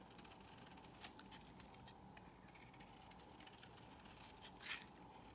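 A metal blade scores and scrapes shavings off the surface of a solid cream soap bar held in the palm. A quiet, bright, gritty scratching runs throughout, with a sharp crisp snap about one second in and a louder, drawn-out scrape near the end.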